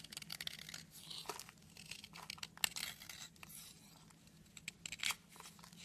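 A knife blade scrapes flakes off a solid red soap stick held in the hand, shaving away crumbly chips. A rapid series of short, bright, dry rasping and crinkling scrapes is heard, with a faint steady low hum underneath.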